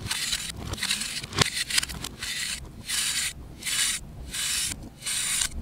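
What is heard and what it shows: A solid, compressed pale green disc of baking soda or chalk is held in the hand and scraped with a knife blade, making it crumble. Repeated dry, bright, hissy scraping strokes come in bursts separated by short pauses, with small crackles as the powder breaks away.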